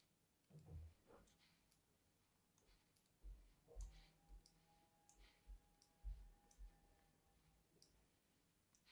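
A fine metal tool tip is dragged in parallel lines across a solid, palm-sized, cream-white bar of soap held in the hand. The result is a quiet series of irregular, dull clicks and soft scraping, with low, thumpy bursts spread over the clip.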